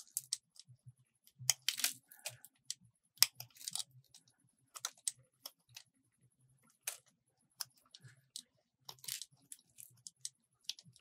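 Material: Soap.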